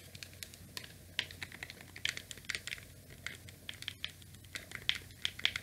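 Fingertips press the rubber and plastic buttons and D-pad of a small, rectangular, grey, hollow plastic Nintendo NES controller with a cable. The result is an irregular run of short, dry, bright clicks and taps that die away almost instantly, over a faint low hum.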